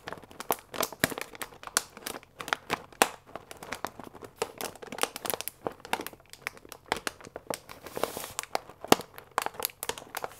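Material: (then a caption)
Paper. A full paper fusilli bag with a plastic window is held upright and squeezed and crinkled with the fingertips. The result is a dense, steady run of sharp, dry crackles and crinkles with bright, papery highs and almost no low end. Each snap dies away instantly.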